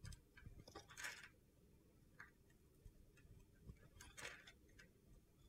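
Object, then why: Bar of soap scraped with a metal blade. A solid mint green bar of soap, held in the hand, is chipped and scraped with a metal utility knife blade, leaving flakes around it. Soft, crunchy scrapes and sharp ticking chips come in uneven bursts over a low rumble, with a few brighter, louder strikes standing out.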